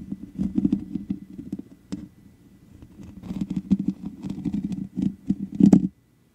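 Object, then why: Metal mesh microphone grille. Long nail tips scratch the top of a black microphone's hollow metal mesh grille, making dense, rapid scratchy crackles with a low-mid rasp and brighter clicks. The scratching comes in bursts, drops to a faint rustle for about a second in the middle, builds again, and stops abruptly near the end.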